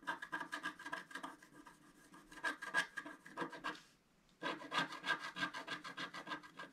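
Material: Coated paper.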